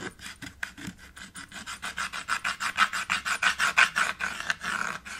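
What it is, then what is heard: Chalk scraping on a framed chalkboard. White chalk is rubbed quickly back and forth across a small dark chalkboard in a red wooden frame to fill in an area, making a dry, rasping scrape. About 22 short strokes come at a fast, slightly uneven pace, centered in a bright midrange around 1.5 kHz with high hiss and almost no low end. They grow louder toward the middle and then ease off.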